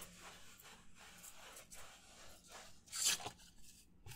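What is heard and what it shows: Fingers rub and scratch the surface of a white disposable paper plate held up in both hands. Soft, bright, dry scratching and rasping strokes continue throughout, with one louder, sharper scrape about three seconds in before the rubbing fades back down.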